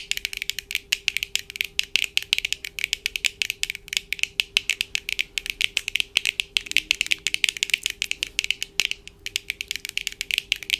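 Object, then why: Plastic eyeglass frame and lenses. Long acrylic nails on both hands rapidly tap the lenses and frame of a small pair of black plastic-framed eyeglasses, worn on the face, with hard, hollow-framed lenses. The result is a fast, continuous stream of sharp, bright clicks centered around 2.3 kHz with almost no low end, over a faint steady hum.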